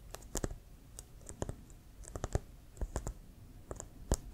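Fingernails tap and scratch the pebbled surface of a hollow, inflated brown leather American football with a white stripe, held near the shoulder. A quick, irregular run of short, dry clicks, each with a soft low thump and a bright tick that dies away almost instantly, with faint scratching between the taps.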